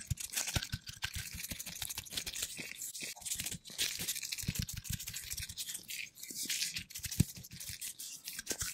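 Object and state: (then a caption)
Plastic toy nut and bolt. A large, hollow, hand-sized bright green plastic toy nut threaded on a ribbed plastic bolt is turned, rubbed and tapped by fingertips in black latex gloves. Quick, dry clicks and taps mix with a bright, scratchy rubbing hiss, and each tap cuts off almost instantly.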